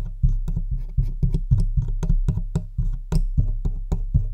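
Long white-tipped acrylic nails tap and scratch the hollow metal body and front control knobs of a large black Blue Yeti USB microphone standing on its stand. The result is a rapid, steady series of dry, clicky taps, each with a heavy, boomy low thump that dies away almost instantly, with faint bright scratching between them.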